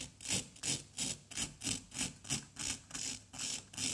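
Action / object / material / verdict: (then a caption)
scrape / plaster block scraped with a wooden stick / plaster / none. A small, solid orange plaster excavation block is scraped with a pointed wooden stick held in the fingers. Each stroke makes a bright, hissing scrape with a faint low grainy rub beneath it. The strokes repeat in a steady back-and-forth rhythm of about three per second.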